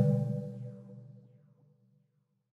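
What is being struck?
Nothing is struck.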